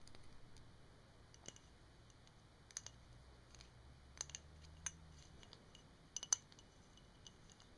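Long painted fingernails tap and scratch a clear glass bottle with a printed label, held in the hands. About eight quiet, sharp, bright clicks stand out over a soft hiss and a faint low hum, each dying away almost instantly.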